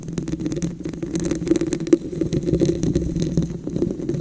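Long nails tap and scratch the raised wavy ridges of a tall, hollow, dark red textured glass vase or candle holder. The result is a dense, continuous stream of quick, dry clicks and rasping scrapes with a low, hollow resonance around 336 Hz. Each tap dies away almost at once.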